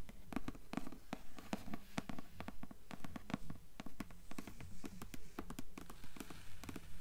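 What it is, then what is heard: Hardcover book cover tapped with nails. Long nails tap and scratch the dark cloth-board cover of a thick hardcover book lying open on a table, with the closed cover portion on top. The result is a steady, fairly regular run of dull, clip-clop-like knocks with short scratching between them, sitting mostly in the low range and dying away quickly.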